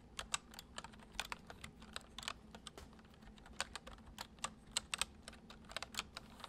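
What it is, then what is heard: Plastic computer keyboard being typed on. Fingertips type gently on the central keys of a white plastic computer keyboard, making a steady run of quick, crisp, bright clicks with almost no ring. A faint low hum sits underneath.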